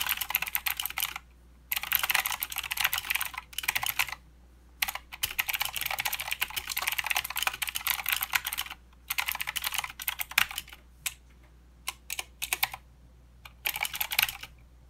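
Fingertips of both hands type continuously on a plastic mechanical keyboard with clicky blue switches and plastic keycaps. Rapid, bright, crisp clicks come in dense bursts separated by short pauses, with almost no low end and very short decay.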